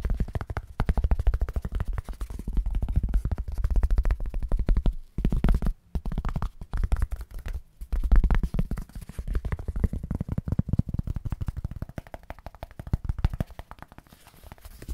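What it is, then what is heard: Foam packing sheet. A small, solid white foam packing sheet is held in one hand and tapped very quickly with the fingertips of the other. The result is a dense, rapid stream of soft, deep thuds with almost no bright content. Short pauses break it up around the middle, and it grows quieter toward the end.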